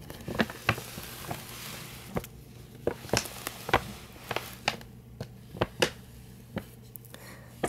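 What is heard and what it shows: Fingertips and short nails tap and scratch the front and sides of a hollow, printed paper gift bag with a Chewbacca design. About fifteen sharp, dry taps sound at an uneven pace, with brief papery scratches between them. A steady low hum runs underneath.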